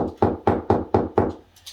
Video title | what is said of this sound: How to Hide Wiring Behind Your TV: A Step-by-Step Guide | over here it sounds hollow